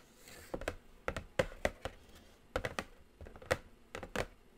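Long nails tap and scratch across the top of a large, flat, black glossy Morphe cardboard eyeshadow palette box. Short, dry clicks come in uneven clusters over faint scratching, each tap dying away almost instantly.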